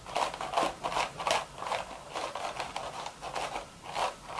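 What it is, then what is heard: Woven straw hat being scratched. Long red nails quickly scratch and scrape across the crown of a hollow, empty woven straw hat. Rapid, uneven bursts of dry, crackly rasping rise and fall, with a papery midrange body around 680 Hz and a bright, hissy edge. There is little low end, and each stroke dies away quickly.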